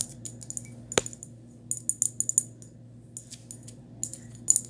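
Long nails tap a small white glazed ceramic cup held in the hand, making quick, bright clicks in loose clusters, with one sharper tap standing out near the start. Each tap dies away almost at once over a faint, steady low hum.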